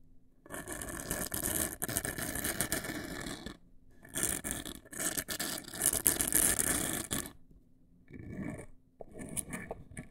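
Long nails scratch the sides and top edge of a large, hollow, black printed cardboard cosmetic box. Two long bursts of dense, rapid, raspy scratching with a bright hiss are followed by two shorter, softer passes near the end, with brief quiet gaps between them.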